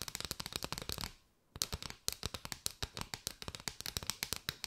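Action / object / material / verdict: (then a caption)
tap / bundle of paper straws / paper / none. Long white nails tap and scratch across the ridges of a curved, hollow bundle of striped paper straws, making around thirty quick, dry, bright clicks with a brief pause near the middle. Each tap stops sharply with almost no ring, leaving a crisp, high-pitched rattle.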